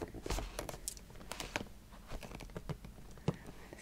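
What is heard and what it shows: Long painted nails tap and scratch the lid and sides of a medium, closed, hollow square cardboard gift box with a red "Social Studies" lid and white sides, its contents not visible, while beaded bracelets on the wrists may add a faint clink. The result is a quiet, steady run of dry, quick taps with a low, hollow thud, mixed with bright scratching and crinkling that stops almost instantly after each contact.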